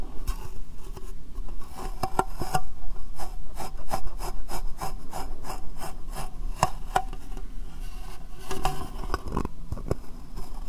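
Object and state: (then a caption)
Clear plastic box scratched with fingernails. Fingernails rub and scratch a small, clear, hollow, empty plastic box turned upside down over the microphone. Quick, irregular scratchy strokes repeat throughout, each one a short bright rasp over a low, muffled, hollow rumble. The strokes stay dry and close, with almost no ring after each.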